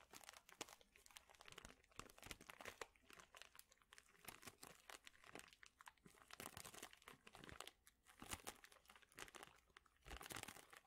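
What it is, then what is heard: Plastic bag of thin wooden chips. A large clear plastic bag full of thin, flat wooden chips or veneer shapes is squeezed and crinkled with the fingertips and both hands. The result is a dense, quiet run of bright crinkling and crunching with many sharp, short snaps. It swells in bursts and dies away quickly, with little low-end weight.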